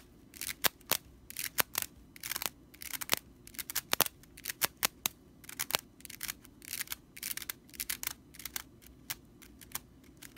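Long nails scratch quickly across the bristles of a stitched straw whisk broom. Bursts of dry, bright rattling and scratching come with many sharp, quick clicks that stop almost instantly, all quiet and close.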